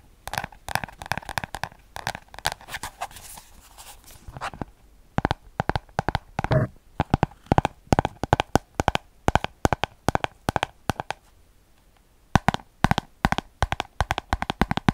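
A small orange paper spiral notebook has its cover and page edges scratched and tapped with fingernails. The result is a close, dry stream of quick clicks and soft scratchy rasps that come in bursts, with a brief quiet stretch before the tapping picks up again.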